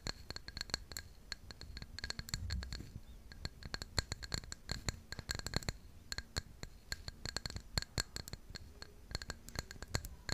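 Long pink nails scratch and tap the glazed side of a tall, hollow white floral ceramic mug held in one hand. A steady stream of quick, sharp clicks and scrapes follows, each tap ringing briefly with a bright, glassy tone over a soft low rumble.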